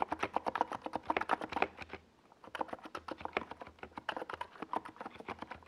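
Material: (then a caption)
Plastic. Fingertips of both hands type steadily on a compact 68-key NiZ Plum Atom 68 mechanical keyboard with a white plastic case and purple and yellow Domikey Gas Attack SA plastic keycaps, resting on a purple desk pad. A rapid stream of short, crisp plastic clacks fills the clip, with a brief pause around two seconds before the typing resumes at the same steady pace.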